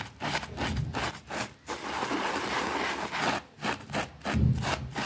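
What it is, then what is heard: Small fabric rug being scrubbed. A white plastic bristle brush scrubs a small, thin green fabric rug with a rabbit print, wet and soapy, lying on a concrete floor. Rough, rasping back-and-forth strokes give a broad, wet hiss over a low, dull rumble, with brief pauses between bursts of scrubbing.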